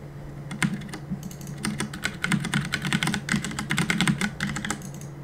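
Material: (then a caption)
Plastic. Fingertips press and tap the plastic keycaps of a black plastic CM Storm mechanical keyboard on a desk while gaming. The result is a rapid, uneven stream of sharp, bright clacks that come in bursts and short pauses over a steady low hum.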